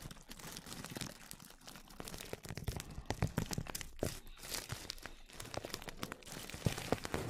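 Clear plastic cling film, wrapped tightly over a microphone, is stroked and scratched with a small brush with a black handle. Close, dense brushing and crinkling crackles come in quick bursts, with a strong low rumble and scattered bright, sharp crinkles.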